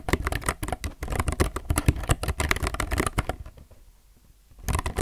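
Fingertips type continuously on a low-profile mechanical keyboard with plastic keycaps, recorded close up, producing rapid, short, dry clacks with a deep, thocky low end. The typing stops briefly near the four-second mark, then resumes.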